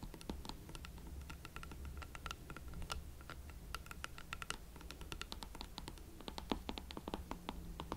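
A pair of hot pink leather Valentino platform boots is held from behind while the heels are scratched and tapped with long nails. A quick, irregular run of light, sharp clicking taps and scratching plays over a steady low hum, each tap dying away almost at once.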